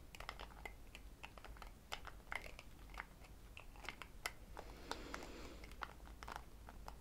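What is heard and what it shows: Long acrylic nails tap quickly and repeatedly on the white plastic screw lid of a small, palm-sized cosmetic jar that looks full of a yellow product and is held in one hand. The result is a run of short, dry, bright clicks with almost no ring, some landing harder than others, over a quiet low background hum.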